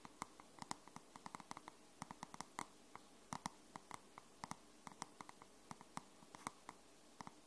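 Long nails tap and scratch the cover of a dark grey card-cover paperback book. About 35 short, sharp, irregularly spaced clicks with a bright tone near 1 kHz sit over a soft, steady scratching hiss.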